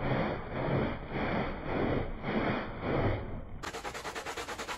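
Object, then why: Wet woven fabric rug scrubbed with a plastic bristle brush. A handheld plastic bristle brush is rubbed in firm strokes over a small, wet, foamy, patterned woven fabric rug lying flat on the floor. Repeated swelling, wet scrubbing rasps are heard, full in the low range. In the last second they give way to a quicker, brighter, evenly pulsing scrape.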